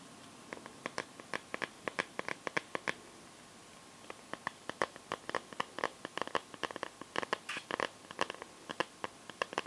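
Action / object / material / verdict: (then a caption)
tap / smartphone in a clear plastic glitter case / plastic / none. Long nails scratch and tap the back and rim of a clear pink plastic liquid-glitter case on a smartphone. About 46 quick, dry clicks sound in an uneven series over nearly ten seconds, with a brief pause around four seconds. Each click is sharp and fades almost instantly.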